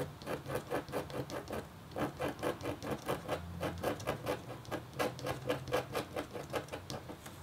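The metal tip of a red stylus scratches rapid, short strokes across a thin, solid, flat black-coated copper-foil scratch art board. About 25 quick, dry scraping strokes come in a loose rhythm, each with a mid-pitched rasp and a bright edge that cuts off almost at once.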